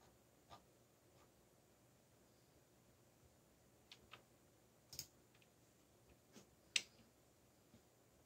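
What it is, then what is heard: Plastic mechanical keyboard. Fingertips rest on and slowly press keys of a backlit mechanical keyboard with black plastic keycaps. Sparse, sharp, bright clicks sound at uneven intervals over a quiet, near-silent background, and each click dies away almost instantly.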